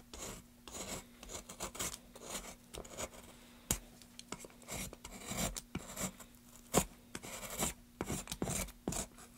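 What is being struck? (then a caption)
Pine wood board. A solid light pine plank, held upright in gloved hands, is scraped and carved with a metal gouge in short strokes. Each stroke makes a dry, bright rasping scrape, with a few sharper clicks where the blade bites. A faint steady low hum sits underneath throughout.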